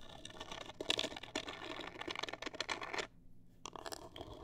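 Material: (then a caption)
Cardboard. Long acrylic nails scratch a hollow, black printed rigid cardboard cosmetic box held upright. Dense, bright, dry scratching strokes rasp in quick succession. The scratching stops briefly near the three-second mark and then resumes.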